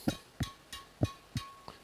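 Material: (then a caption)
String. The strings of a Carbonex 8 badminton racket are struck six times in steady succession. Each strike gives a short, low thump with a faint, bright ringing "ting" above it.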